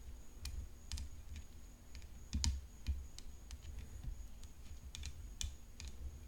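Long nails tap the hollow composite frame of a rhinestone-decorated tennis racket lying on black cloth. The taps are quick, dry, bright clicks at an irregular pace, with short decays, over a low background rumble and a faint steady high tone.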